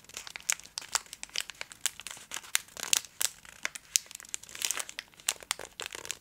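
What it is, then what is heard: Foil candy bar wrapper. A full Twix bar in a gold metallic foil wrapper is held in both hands and scratched and tapped with long acrylic nails. It gives a steady stream of bright, crisp crinkling with many sharp clicky taps in quick succession, almost no low end, and no ring after each hit.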